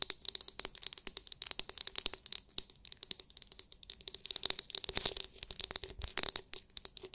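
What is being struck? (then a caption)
Hard plastic glitter-filled massage brush. Long nails quickly tap and scratch the hard, clear, glitter-filled plastic dome of a palm-sized oval massage brush. The result is a rapid, dense run of crisp, bright clicks and scratchy ticks with almost no low end. Each hit cuts off dry, with virtually no ring.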